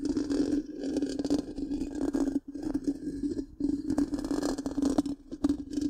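Long pink-painted nails of both hands scratch the hollow, black, round metal mesh grille of a large microphone. The result is a dense, continuous scraping and crackling over a steady low hum, with a few brief dips in the texture.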